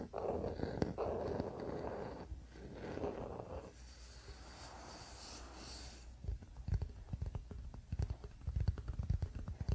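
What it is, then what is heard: Wooden paddle hairbrush. Fingertips scratch and tap the solid wooden back of a wooden paddle hairbrush lying on a blanket. Soft, low scratching rubs come first, then a quieter, brighter hiss, followed by a run of short, dull, irregular taps with little ring.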